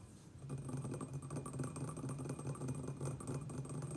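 Fingertips and nails of both hands tap rapidly on the sides and rim of an empty, hollow, medium round white glazed ceramic planter resting on a wooden table. The result is a dense, continuous patter of short, dull knocks with a low hollow resonance around 150 Hz that dies away quickly after each tap.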